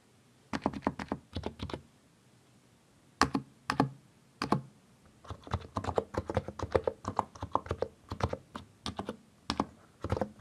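Fingertips press the keys around Backspace on a compact mechanical keyboard with a white case and grey, purple, yellow and green plastic keycaps, then both hands type. Short, dry clacks come in quick bursts separated by brief pauses, each keystroke with a mid-pitched click and a soft low thock that stops almost instantly.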